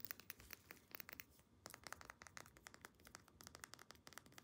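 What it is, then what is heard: Small glass dropper bottle. Long painted nails rapidly tap and scratch a small amber glass essential oil dropper bottle with a black plastic cap and a paper label. Quick, crisp, bright clicks stop dead with no ring, over a soft scratchy rustle, and the sound stays quiet throughout.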